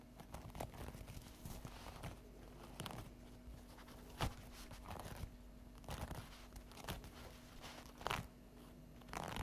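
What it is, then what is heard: Stack of paper napkins scratched and tapped. Long acrylic fingernails scratch and tap the top edge of an unwrapped stack of folded paper napkins. The result is quiet, dry crinkling and scratchy rustles broken by sharp, brief taps that die away almost instantly, over a steady low hum.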